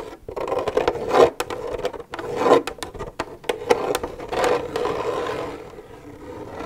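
Long nails scrape and tap an empty, hollow plastic milk jug. Raspy scraping swells rise and fade over sharp, bright taps, with a hollow resonant tone ringing under them. The sound dies out quickly after each contact.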